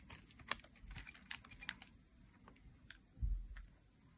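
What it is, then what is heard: Dry soap bar being shaved. A metal blade scrapes along a dry, solid green soap bar, lifting curled shavings. Short, crisp scraping clicks and crackles come in an uneven patter with bright high tones. A duller low thump sounds near the end.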